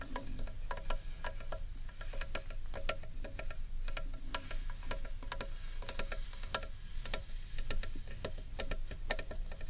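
Long painted nails tap and lightly scratch the outer wall of a large, hollow carved wooden bowl held upright in one hand. The result is a quick, irregular run of dry, hollow knocks, each with a brief woody ring around 600 Hz, mixed with soft, bright scratching over a steady low rumble.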